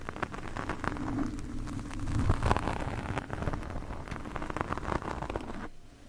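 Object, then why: Foam microphone windscreen scraped by metal fork tines. Two metal fork tines scratch a black foam microphone windscreen from both sides. The result is a dense, continuous crackling rustle with many fine ticks, heavy in the low end, swelling and easing before it drops away near the end.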